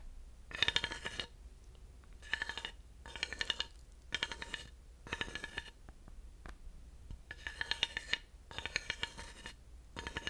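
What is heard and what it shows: A thin wooden dowel taps on and scrapes over the ridges of a flat, solid, grooved wooden panel. It makes repeated short bursts of rapid, dry clicking rattles, bright and crisp, with pauses between them. Each click dies away almost instantly against a faint low hum.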